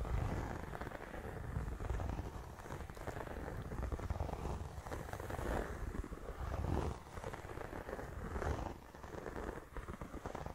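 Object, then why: Faux leather zip pouch. Fingertips and nails tap and scratch across the surface of a flat, medium-sized pink croc-embossed faux leather clutch pouch with a zipper, likely empty. The result is a steady, dense run of soft, muffled taps and crackly scratches, heavy in low thuds with little brightness, that swells and dips slightly throughout.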